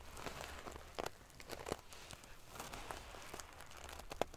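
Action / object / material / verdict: scrape / pillow with sewn-on metal sequins / metal sequins / none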